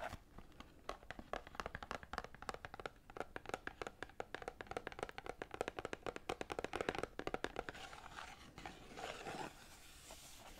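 Long painted nails rapidly tap and scratch the faces of a small green Lord Nelson cardboard tea box, hollow and holding tea bags, while it is held in both hands. The result is a dense stream of short, dry clicking taps with a faint papery rustle. In the last few seconds the tapping gives way to softer, brighter scratching.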